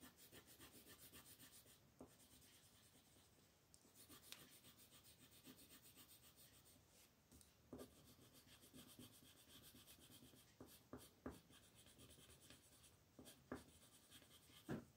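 A brown wooden colored pencil held in the fingers scratches and rubs across a flat sheet of white paper printed with a monkey, lying on a table, while the other hand, with yellow painted nails, rests on the sheet. The result is a steady, quiet, bright scratchy rubbing of rapid coloring strokes, broken by several sharper ticks as the pencil lands or shifts on the paper.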